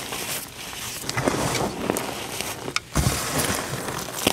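Fingers squeeze small clumps in pink dyed gym chalk powder and press the surface flat. A steady dry, crunchy crumbling and rubbing is heard, with brief bright crackles as the clumps crush. A short quiet gap near the end is followed by more crushing.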